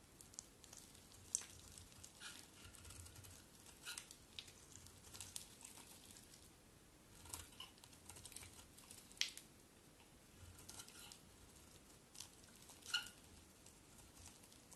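A solid cream bar of soap held in the hand is shaved with a metal utility knife blade. Quiet, bright scraping and crinkly shaving sounds come in irregular strokes, with a few sharper crisp snaps standing out above the soft rasp.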